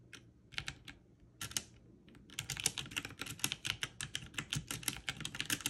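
One hand with long nails presses keys on a backlit mechanical keyboard with plastic keycaps, using the fingertips in slower presses. A few spaced, bright clicks are followed by a steadier run of crisp, clacky keystrokes, each snapping off almost instantly with little low end.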